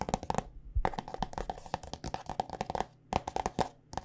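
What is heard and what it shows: Long nails tap rapidly on a white plastic body butter squeeze tube filled with lotion. The sound is a quick run of short, dry clicks with a hollow tone near 750 Hz and a bright edge, coming in bursts separated by brief pauses.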